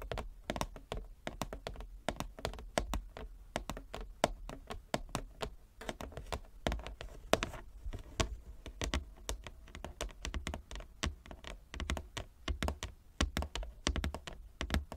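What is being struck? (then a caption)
Inlaid wooden chess board. Long nails and fingertips tap rapidly and continuously across a large, flat, inlaid wooden chess board. The taps are short, dry knocks with a deep, thumpy body, sharp clicky tops and almost no ring, varying slightly in loudness throughout.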